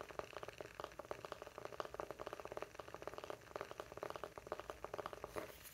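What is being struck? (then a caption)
Small round wooden coaster. A solid, palm-sized, round flat light-wood coaster is held in both hands while fingertips and short nails tap and scratch its face. The result is a quick, quiet run of dry, short wooden taps centered in the mids around 600 Hz, with almost no ring and light scratchy texture between them.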